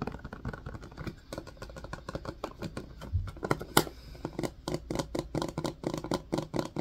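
Fingertips tap and press the hollow domed cells of an empty, hand-sized blue silicone ice cube tray set in a white hard-plastic frame. Many quick, soft, muffled taps with a dull mid-range thud follow one another in an uneven stream, with a few louder, sharper clicks toward the middle.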